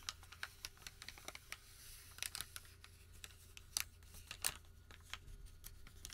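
A crumpled white thermal paper receipt is held in both hands and bent and crinkled with the fingertips. Quiet, bright crinkling and rubbing come through as a quick series of sharp, short crackles over a low, steady hum.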